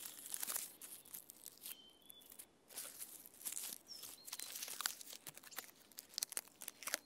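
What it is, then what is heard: Tree bark scratched. Fingernails scratch and pick at the rough, peeling bark of a standing tree trunk, making dry, bright crackling and scraping bursts with almost no low end. The scratches come in irregular clusters with a brief quiet gap near the two-second mark, where faint short tonal chirps are heard.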